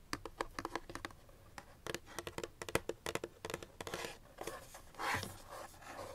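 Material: Cardboard.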